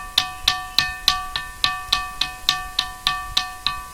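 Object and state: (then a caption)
Ringing rock (bell-sounding stone). A rock boulder on Ghantasila hill, a stone that sounds like a bell when hit, is struck 14 times in a steady rhythm. Each strike gives a bright, metallic, bell-like ring centered near 1.2 kHz, with sustained tones around 700 Hz and 1.8 kHz and a quick decay between hits.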